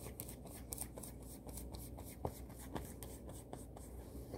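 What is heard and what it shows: Long manicured nails and fingertips scratch, rub and scrunch the smooth fabric of a blue floral satin kimono robe being worn. The result is a quiet, steady rustle with irregular soft scratchy ticks and brief brighter swishes across the surface.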